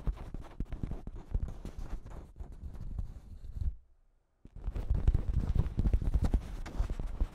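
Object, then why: Thin plastic shower cap stretched over a microphone. Long pink nails scratch and crinkle a thin pink plastic shower cap with a cat print stretched over a microphone. The result is a dense stream of close, rustling crinkles and soft thumps heavy in the low end, which drops to silence for about half a second near the middle before resuming louder.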